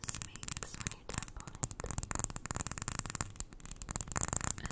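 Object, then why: Small glass jar filled with white granules. A small glass jar full of white granules is held close while long nails tap rapidly on its glass sides. The result is a dense stream of quick, crisp clicks with a bright, high glassy ring and some low thumps underneath.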